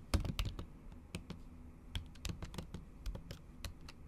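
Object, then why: Laptop keyboard with thin plastic cover. Long acrylic nails type on a MacBook keyboard covered by a thin pink plastic or silicone cover. They make a quick, uneven run of soft, muted key taps with sharp bright clicks where the nails strike. Each tap is short and dry, with most of the weight in a low thud.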